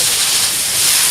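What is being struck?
Nothing is struck.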